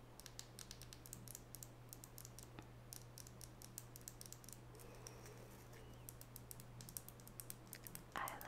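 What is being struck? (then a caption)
Small wooden nail brush with natural bristles. A small solid wooden nail brush with natural bristles is turned in the hands while long natural fingernails tap its wooden sides. Rapid, light, bright clicks with almost no ring patter steadily over a low constant hum. A soft bristly rustle comes in around the middle, and a slightly louder burst of scratching closes the clip.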